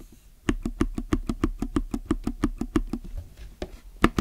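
Fingertips press the left keys and the yellow plastic spacebar of a low-profile mechanical keyboard with plastic keycaps. A steady, quick run of short, dry clacks with a low, hollow thock is followed after a brief pause by a few more scattered presses. Each press dies away almost at once with no ring.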